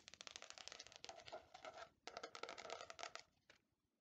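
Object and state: Faux leather hardcover notebook.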